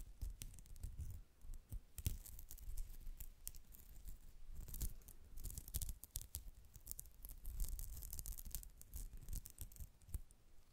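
Long nails scratch across the texture of a soft, flat, white polyester mesh pouch shaped like a cat face. A dense run of quick, rasping scratches carries bright crackle and sharp clicks over a low, muffled rumble, rising and falling in short bursts throughout.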